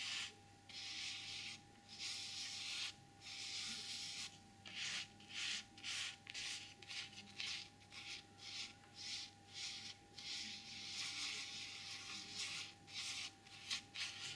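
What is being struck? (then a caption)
Velvet fabric pouch. Long purple-painted nails scratch and rub across a small, flat, empty black velvet drawstring pouch with a white printed emblem, lying on a white table. Soft, bright, airy fabric scratching comes in uneven strokes with short pauses, about ten separate bursts, over a faint steady hum.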